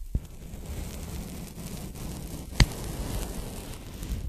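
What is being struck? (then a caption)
Polyethylene foam packing bag. A pink polyethylene foam packing bag, folded into a strip and held in both hands, is lightly tapped and rubbed with fingertips and nails. A soft, steady, low-heavy rustling and scratching runs throughout, punctuated by two sharper, brighter taps near the start and just past the middle.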